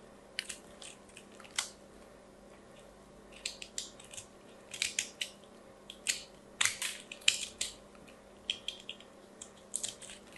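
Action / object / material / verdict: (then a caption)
scrape / bar soap piece being shaved with a knife / soap / none. A small solid lilac soap ball, held in one hand, is scraped and shaved with a craft knife held in the other over a pile of soap shavings. Bright, crunchy cutting and scratching strokes come in short bursts with quiet gaps between them, each stopping almost at once.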